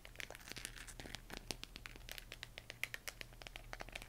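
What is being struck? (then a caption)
Plastic LED moon lamp. Long painted nails tap and scratch the textured surface of a hollow plastic LED moon lamp glowing cyan, heard close up. Quick, dry, bright clicks and crinkly scratching come in a dense, uneven stream over a faint steady low hum, each tap dying away almost instantly.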